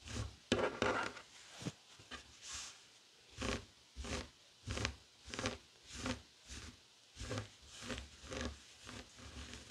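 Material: Woven fabric.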